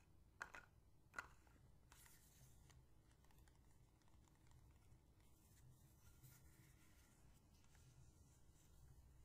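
A small, empty, hollow clear plastic bottle with a white plastic cap, held in the hands, is tapped and scratched with long painted fingernails, then stood upright on the table. Two sharp, bright taps come early, followed by soft, steady scratching and faint ticks for the rest of the clip.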